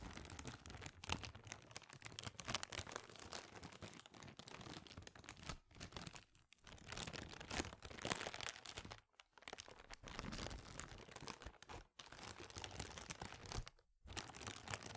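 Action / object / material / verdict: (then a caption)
scrape / thin plastic bag / plastic / none. An empty, clear, thin plastic bag is held in both hands and crinkled by the fingertips. Dense, bright crackling and crunching runs almost continuously across a wide band, with short quiet gaps around 6, 9, 12 and 14 seconds.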